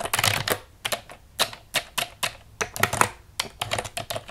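Long nails tap and scratch the keys of a black plastic computer keyboard lying on a table. The result is quick bursts of sharp, bright plastic clicks and scratchy clatter that die away almost instantly, separated by brief pauses.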